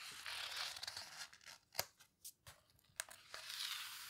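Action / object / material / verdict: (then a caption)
scrape / book with heavy paper pages / paper / none. Fingers with long red nails squeeze and turn the heavy paper pages of a large open photo book, a paper houseboat book. Bright, soft papery rustling and crinkling swells and fades, broken by a few sharp, crisp snaps of pages as they flip over.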